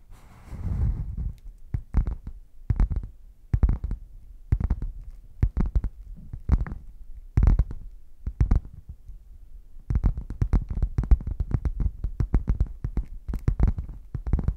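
A closed, hollow red padded faux leather zip case is tapped with nails on the front, then turned so the nails scratch and tap along its top edge. The sound is a series of dull, deep thumps: after a brief rustle, the taps come evenly spaced, then turn quicker and denser toward the end.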